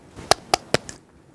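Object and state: Set (hardened) fiberglass cast.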